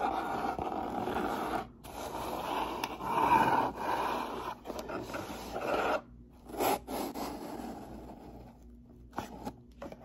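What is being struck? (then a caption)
Corrugated cardboard box. Fingernails scratch along the top edge of a hollow, medium brown corrugated cardboard box with a white label, and then the box is tilted up in the hands. The sound is a steady, dry, raspy scraping centered in the midrange, broken by brief pauses. It ends in quieter rubs and a few light taps as the box is handled.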